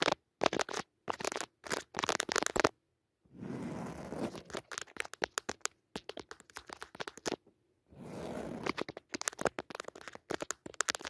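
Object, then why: Padded woven fabric cushion. Long fingernails scratch a soft, padded woven jacquard fabric cushion with a red leaf pattern. Quick bursts of crisp, bright scratching strokes alternate with longer, continuous rasping scrapes across the textured weave, separated by brief silent pauses.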